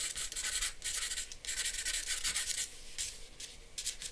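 A charcoal pencil hatches and rubs across a flat sheet of drawing paper resting on a board. The result is dry, bright, scratchy rasping in quick back-and-forth strokes, grouped into bursts with brief, quieter pauses between them.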